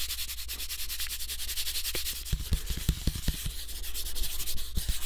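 A thin, flat brown cardboard sheet cut into the shape of a floppy disk is rubbed and scratched with fingertips and nails. Dense, rapid scratchy strokes produce a bright, hissing texture over a steady low hum near 59 Hz, with a few sharper scrapes popping out in the second half.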